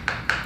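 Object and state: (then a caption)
Solid ceramic floor tile after repair. A ceramic floor tile, repaired a couple of weeks earlier by injecting adhesive beneath it, is tapped three times. Each tap gives a short, sharp click with a brief ring around 1.5 kHz. The tile now sounds solid, with no hollow spot.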